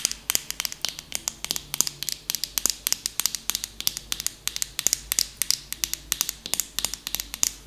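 Long nails tap and scratch a medium, soft plastic lotion tube with a purple cap that appears full. About fifty quick, dry clicks and scratches follow one another in a steady, uneven patter. The sound is bright and high-pitched, with almost no low end, and each hit stops at once with no ring.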